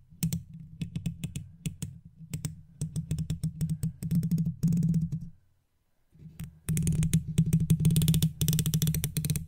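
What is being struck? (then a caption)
Metal mesh microphone grille tapped with a wooden toothpick. A wooden toothpick, held between the fingertips of long-nailed fingers, taps and scratches across the hollow metal mesh head of an uncovered silver microphone. Rapid, irregular taps come through as close, boomy low thuds with faint bright clicks on top. After a brief pause, denser, louder scratching and tapping follows.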